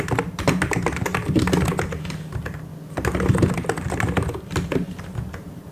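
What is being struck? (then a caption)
Plastic mechanical keyboard. Fast two-handed fingertip typing on a white and grey plastic mechanical keyboard. A dense, steady patter of short clicky keystrokes with a deep, thocky low body, dipping briefly in pace near the middle before continuing.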